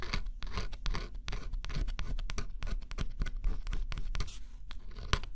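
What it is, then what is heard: Scratch-off cardboard puzzle being scraped. A small metal stylus held in the fingers scratches the black scratch-off coating on a flat, solid cardboard jigsaw puzzle. Quick, dense scratching strokes follow one another almost without pause, each a short, dry rasp with a bright edge over a strong low rumble.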